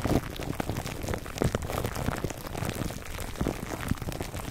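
Fingertips of both hands scratch clear plastic cling wrap stretched over a black foam microphone windscreen. The result is a dense, continuous crinkling and crackling with a deep, muffled low end, like rain pattering on a surface, and brief louder bursts rising out of the steady rustle.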